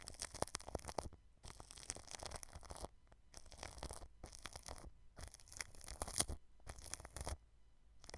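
A paintbrush brushes clear plastic cling film wrapped over the grille of a white microphone. Quiet bursts of crinkly, scratchy rustling, with low rumble and bright hiss, are broken up by short silent pauses between strokes.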